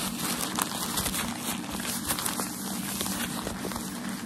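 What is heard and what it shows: Fingertips and nails rub, scratch and crinkle a folded bundle of white tissue shoe packaging paper held in the hands. The result is a steady, dense crinkling and scratching texture with bright, airy hiss and small crackly peaks throughout. A faint low hum runs underneath.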